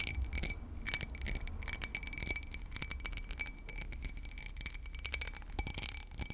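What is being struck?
Cut crystal glass tumbler.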